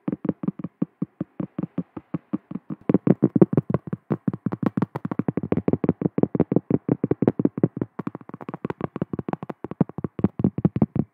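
Long acrylic nails rapidly tap and scratch on a large, round, solid cork trivet. The result is a quick, steady run of dozens of short, dull, low-pitched taps that die away almost instantly, with no bright high end.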